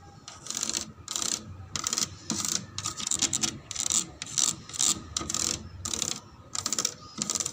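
The plastic surface of a slide is rubbed and tapped, producing repeated bursts of bright, hissy scratching with light taps in between. The sound is dominated by high frequencies with very little low end.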